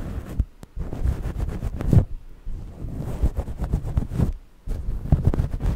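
Long manicured nails scratch and rub the surface of a soft grey knit cloth, likely a sweater or towel, draped over the microphone area. The result is dense, muffled, low-heavy scratching and rustling in continuous bursts, with brief quiet pauses between strokes.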